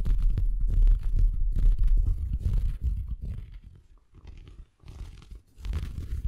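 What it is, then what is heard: Felt Christmas stocking. Fingers scratch and rub a large, empty, soft red felt Christmas stocking with a white plush cuff close to the microphone. The result is a dense run of low, muffled rumbling scratches with faint bright rustle on top, loud for the first three seconds, then quieter and patchy before rising again near the end.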